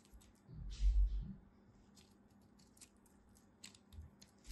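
A utility knife scrapes and cuts across the crosshatched surface of a solid beige bar soap, breaking off small cubes. A soft, low, muffled thump rises early on, then quiet crisp, bright ticks of the blade and crumbling pieces scatter throughout over a faint low hum.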